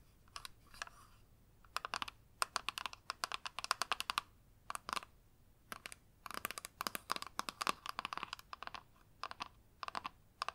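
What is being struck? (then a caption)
Plastic eyeshadow palette with a clear lid. Long nails tap rapidly on the clear lid and edges of a flat rectangular plastic eyeshadow palette held in both hands. The taps come in quick bursts of sharp, dry, bright clicks centered around 1 kHz, with short pauses between runs. Each click stops instantly, with no ringing.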